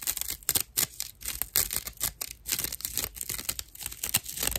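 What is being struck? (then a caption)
Natural loofah sponge. A dry natural loofah sponge has its hollow, porous edge scratched with long nail tips, producing rapid bursts of rough, crackly scratching. The sound is bright and papery with little low end, and each stroke stops sharply.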